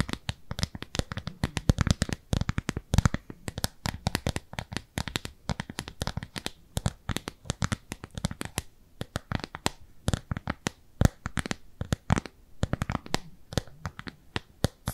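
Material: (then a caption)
Silicone. A round, pale pink, textured silicone cleansing pad, solid and palm-sized, is held upright and scratched with long nails. The result is a quiet, rapid stream of crisp tapping and scratching clicks. Each click is short and dry, with a soft low thump under a bright, scratchy edge.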